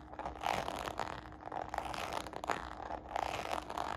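Long nails scratch and fingertips tap across the side panel of a small, hollow red faux-croc patent leather handbag with a glossy, croc-embossed surface. The result is a steady, dry, scratchy rasp broken by quick, light, hollow taps that die away almost at once.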